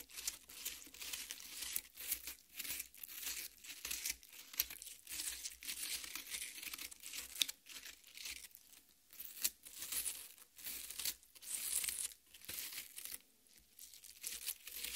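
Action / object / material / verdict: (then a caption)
scrape / cut watermelon half / fruit flesh / none. Long painted nails of both hands scratch and dig into the red flesh of a large, solid cut watermelon half resting on a metal plate, tearing it up. Bright, crisp crunching and crackly tearing come in quick, uneven bursts with short pauses between them, and there is almost no low end.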